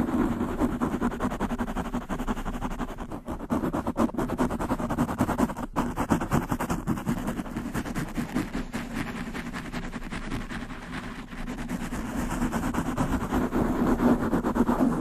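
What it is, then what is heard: Foam microphone windscreen being scratched. Long manicured nails rapidly scratch a black foam windscreen on a large condenser microphone. The result is a continuous, dense, muffled rustling and scraping. It is strongest in the low-mids around 200–300 Hz with little high content, and it swells slightly near the end.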